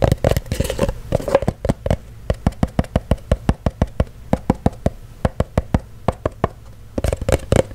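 A small, empty-looking cylindrical kraft-paper cardboard box with a lid is knocked and tapped with fingertips and nails, giving a long run of short, dull, hollow knocks with a low body and almost no ring. Quick, denser tapping and rustling at the start and end give way to the lid being lifted off at the close.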